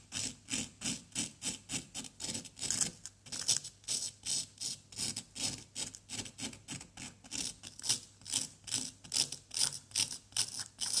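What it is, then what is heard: Plaster block being scraped. A pointed wooden stick held in the fingers scrapes a small, solid orange plaster excavation block. Short, dry, bright scratching strokes repeat in a loose rhythm of about two to three per second, each stopping sharply with no ring and almost no low end.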